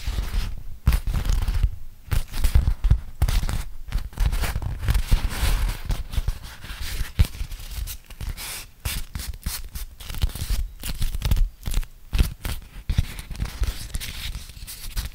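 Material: Waxed cotton.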